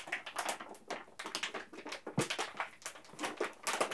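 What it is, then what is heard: Plastic candy bag crinkled. A full yellow plastic M&M's candy bag has its top crinkled and rubbed between the fingertips of both hands. A dense stream of sharp, bright plastic crackles fills the clip in overlapping bursts, mostly high with little low end.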